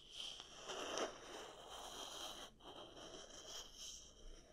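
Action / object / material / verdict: scrape / wooden paddle hair brush with wooden pins / wood / none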